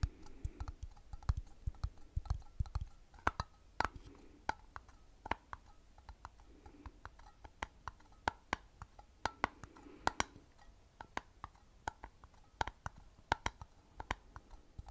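Fingertips and nails of one hand tap the flat, screw-on metal lid of a medium glass mason-style jar full of dried food, held in the other hand. About 37 short, dry clicks and ticks come in an uneven rhythm, each with a dull low knock under a bright tick that stops almost at once.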